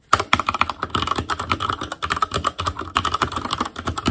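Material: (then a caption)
Plastic. Fingertips of both hands type continuously on an ASUS ROG Claymore Core mechanical keyboard with Cherry MX Red switches, black plastic keycaps on a metal frame, and a hollow housing with RGB backlight. A rapid, steady stream of short clacky taps dies away almost instantly, with a hollow tone centered around 1.3 kHz and a faint bright edge.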